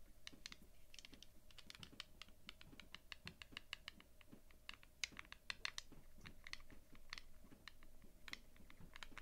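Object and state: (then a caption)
Plastic polyhedral dice. A few small, solid, translucent resin/plastic polyhedral dice are held together in both hands and clicked and rubbed against each other with dark-painted nails and fingertips, while other dice sit untouched on a dark cloth mat. The result is a quick, irregular stream of short, sharp, bright clicks that decay almost instantly, with soft rubbing in between and a faint steady hum underneath.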